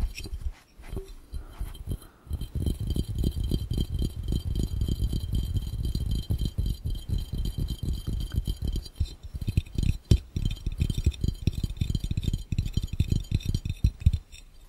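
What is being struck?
Glass fishbowl.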